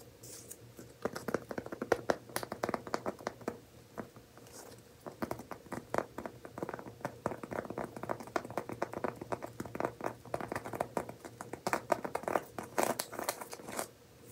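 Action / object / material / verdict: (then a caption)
scrape / woven seagrass coaster / seagrass / none. A round, flat, medium-sized coaster of coiled woven straw or seagrass is held in both hands and scratched and tapped with fingernails. Dense, dry, crisp scratches and quick taps rustle across the woven surface in uneven bursts, each stopping almost instantly with no ring. A faint steady hum runs underneath.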